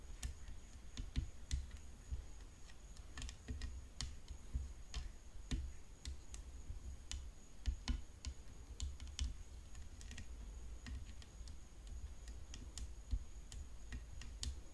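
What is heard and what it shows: Long fingernails tap the hollow composite frame rim of a graphite composite tennis racket, its head decorated with rhinestones and its strings underneath. Quick, dry, clicky taps come in irregular bursts throughout, each dying almost instantly, over a steady low hum and a faint, constant high whine.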